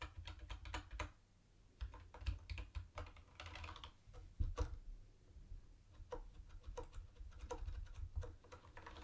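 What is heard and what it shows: Fingertips tap the round white plastic keycaps and the space bar of a mint-green plastic retro keyboard, making quick bursts of light clacky clicks with short pauses between runs. A steady low hum sits beneath the typing throughout.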